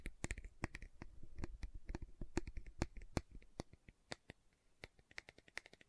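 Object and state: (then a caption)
Plastic gel jar. Long nails tap and scratch the side and lid of a large round green plastic aloe vera gel jar. Rapid, irregular, sharp taps with dull low thumps and bright clicks mix with brief scratching, and the tapping grows quieter and sparser toward the end.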